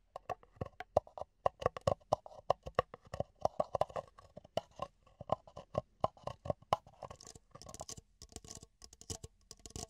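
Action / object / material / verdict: tap / thin plastic party cup / plastic / none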